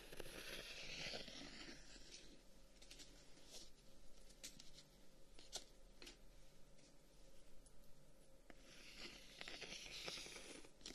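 A closed handheld folding fan with dark wooden guard sticks is tapped and scratched by fingertips and short nails. Bright, dry scratching opens and closes the clip, with a string of sharp, irregular taps in between over a steady low hum.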